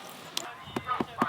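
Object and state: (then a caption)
Fruit frozen solid. Frozen-solid fruit is knocked together at an outdoor market at -30°C, producing several sharp, hard clacks like ice or stone against faint background noise. The fruit is frozen hard and must be soaked in water to thaw before eating.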